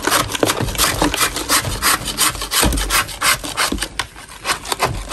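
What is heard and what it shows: A metal putty knife scrapes a large, solid natural chalk block inside a plastic bin in quick, uneven strokes, about three per second. Each stroke makes a dry, gritty rasp with a bright, hissy edge and soft low thuds.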